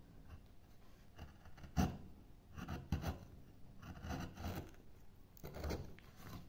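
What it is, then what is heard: Wood block scraped with a gouge. A wooden-handled gouge pushes and scrapes chips from the carved end of a thick, solid oval block of light wood. The result is a series of soft, dull scraping strokes at an irregular pace, mostly low in tone, with a few sharper, brighter cuts standing out.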